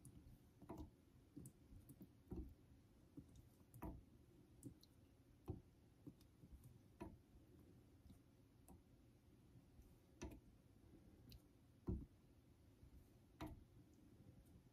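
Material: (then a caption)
Synthetic stone. A vintage Geneva Cutlery steel straight razor is stroked across a solid yellow rectangular synthetic fine-grit honing stone clamped in a holder. A quiet, low rubbing scrape runs throughout, punctuated by irregular sharp ticks with bright edges as the blade flips between strokes.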